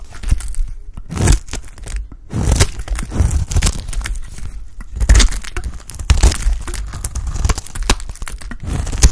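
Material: Soap.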